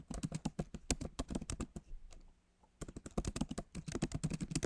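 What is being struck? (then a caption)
Laptop keyboard with plastic keys in a metal body. Fingertips of both hands type on the solid, backlit MacBook Pro keyboard, its plastic keys set in an aluminum body. About 27 quick, dull, low-weighted taps sound in bursts, each dying away almost instantly. A quiet pause of nearly a second falls mid-clip before the typing resumes.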